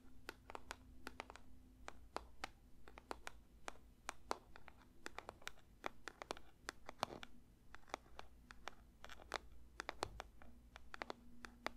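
Fingers lightly tap a paper box for ASMR, making a quick, irregular run of soft, dry clicks and taps with a slight scratchy edge. Each tap stops almost instantly, over a faint, steady low hum.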